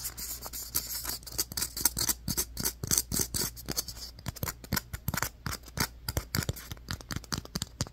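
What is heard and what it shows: Fingernails scratch and tap a solid, light, fist-sized white polystyrene foam ball. Dry, bright scratching gives way to a quick run of crisp, short taps that die away almost instantly, over a steady low hum.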